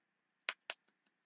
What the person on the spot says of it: shake it until you hear the beads inside because all your metallic is on the bottom